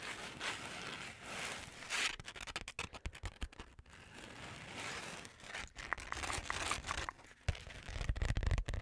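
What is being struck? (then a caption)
Glitter-covered notebook. Long nails scratch across the rose gold glitter cover of a flat, book-sized notebook held close to the mic. Soft, continuous gritty scraping in the first two seconds gives way to a rapid series of short, crackly scratches, swelling again before ending in louder clustered scrapes.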